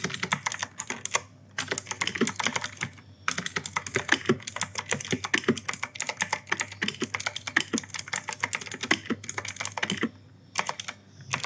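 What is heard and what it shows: Fingertips type continuously on an E-Yooso K-620 mechanical keyboard with Outemu Blue switches and grey and white plastic keycaps. Rapid, sharp clicky keystrokes with bright high click tones and short dull thocks come in bursts, with brief pauses near the start and toward the end.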